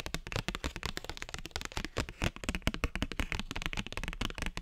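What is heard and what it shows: A thin cardstock paper postcard is tapped and scratched with fingernails, then waved at the end. Quick, dense, dry clicks and papery scrapes follow one another with no pauses, each dying away almost at once, over a low thudding body.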